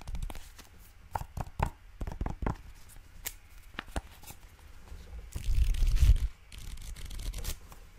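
A small solid pad of light blue paper sticky notes is held in the hands while fingertips and nails flick, riffle and tap its edges, making a run of quick, irregular dry clicks and ticks. Near the end the top sheets are handled, bringing a louder, denser papery rustle that fades into softer crinkling.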